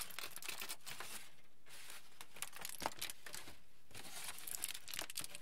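A wrinkled aluminium foil sheet, held by its edges, is crinkled with the fingers. The result is a quiet, steady, bright crinkling and crackling, with sharper snaps here and there and brief softer lulls in between.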